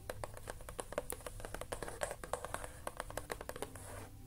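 Fingertips and short nails tap and scratch across the closed lid of a flat, rectangular cardboard box with a colourful building print, which lies on a crocheted blanket and looks hollow, its contents unseen. The sound is a quick, uneven run of short, dry clicks and light scratches with a hollow, papery tone around 500 Hz, each one dying away almost at once over a faint low hum.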